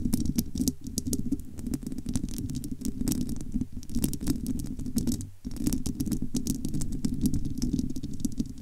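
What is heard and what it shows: Long almond-shaped nails scratch across the bare, hollow, domed metal wire-mesh grille of a large studio microphone. The result is a dense, continuous run of scritchy clicks over a boomy, hollow low-mid rumble, with bright ticks on top. The scratching briefly pauses near the middle, then resumes at the same steady pace.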